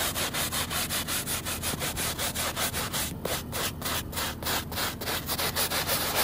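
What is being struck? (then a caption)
Woven fabric rug backing scrubbed with a plastic bristle brush. A white plastic scrub brush with blue bristles is worked vigorously by hand across the ribbed woven backing of a wet, soapy, very muddy rug. About seventeen rapid back-and-forth strokes make wet, scratchy swishes that hiss brightly. The strokes come in a steady but uneven rhythm.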